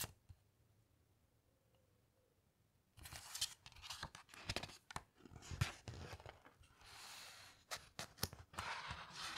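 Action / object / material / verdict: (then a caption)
scrape / glossy paper pages of a hardcover book / glossy paper / none. A large open hardcover coffee table photo book rests on a carpet while long-nailed fingertips slide over its glossy paper pages and turn a page. After about three seconds of near silence, bright, crinkly rustling and swishing bursts of paper follow, with soft scraping as the fingertips glide across the surface.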